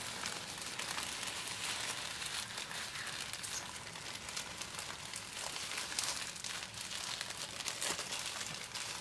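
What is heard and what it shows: A thin clear plastic shrink-wrap sheet, taken off a grey notebook box, is first smoothed and rubbed flat against the box under the fingertips, then lifted and crumpled between both hands. A steady, bright crinkling and crackling fills the whole clip, with very little low end. Short, sharp bursts stand out over the constant rustle.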